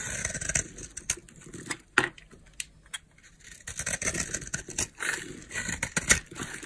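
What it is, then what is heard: Dry bar soap being scraped. A utility knife blade scrapes powdery flakes off a solid white oval bar of dry soap held in the hand. The result is a run of dry, crunchy, bright scraping strokes, each brief with almost no ring, with a few sharper, louder scrapes standing out.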